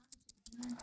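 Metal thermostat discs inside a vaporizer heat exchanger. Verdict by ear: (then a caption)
Loose. Metal thermostat discs rattle inside a reassembled vaporizer heat exchanger as it is shaken, giving bright, quick clicking bursts with a steadier jingle toward the end. The rattle shows the discs have room to move and can engage, meaning the heat exchanger was threaded back together correctly.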